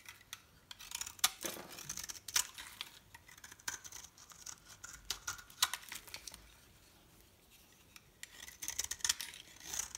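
A metal knife blade scrapes and slices a solid, dry bar soap with a white core and red edges into crumbly flakes. The sound is a string of short, bright, crisp scratching and crunching bursts with almost no low end. A quiet pause comes near the middle before the scraping picks up again.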